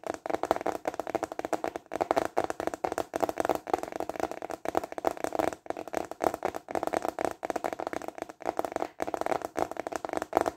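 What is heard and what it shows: Fingertips and short nails tap quickly on the ridged surface of a large, flat, rectangular clear plastic container lid held upright in both hands. The result is a steady flurry of dry, hollow clicks centered in the midrange with little bass. The taps come in bursts separated by brief pauses.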